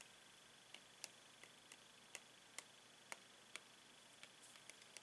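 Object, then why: Clear plastic blister pack holding pens. A metal pen taps across a clear plastic blister pack holding five paint pens, which is held in a gloved hand. Ten quiet, bright, crisp ticks land at an uneven pace and die away almost at once, over a faint steady hiss.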